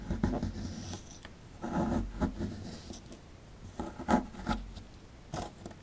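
A metal pick scrapes and chips at the right edge of a rectangular solid plaster fossil dig block held in the hand, with crumbs piling up. Short gritty scratching bursts rise and fade between quieter stretches of faint rubbing. The sound is dull and low-weighted, centered around 230 Hz, with little brightness.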